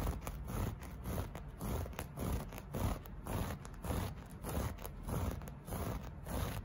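Fingertips and short nails scratch and rub across a flat beige loop-pile carpet piece with a solid, soft textile surface. The result is a steady run of dull, rustling scrapes that swell and fade at a loosely regular pace, weighted toward low rumble with little bright edge.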